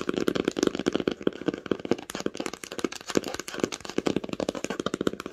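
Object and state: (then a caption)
Cloth-bound hardcover book. Long pink nails tap fast on the cover of an old red cloth-bound hardcover book lying flat and solid on a blanket. The result is a rapid, irregular run of short, dry, muffled taps with a mid-pitched, hollow body and almost no ring after each strike.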